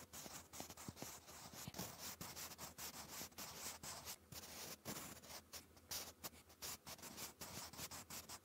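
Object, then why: Wooden pencil on a paper notebook page. A sharpened wooden pencil writes cursive on a textured, lined notebook paper page, its graphite rubbing and scratching across the paper. The strokes come as a steady run of short, bright scratchy bursts with brief pauses between them, and a faint low hum sits underneath throughout.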